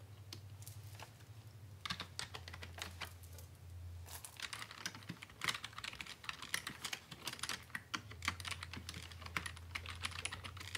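Both hands type quickly with fingertips on a full-size black plastic Dell computer keyboard with a hollow housing. Dense, bright plastic key clicks and taps come in rapid bursts over a low steady hum, growing busier and louder in the second half.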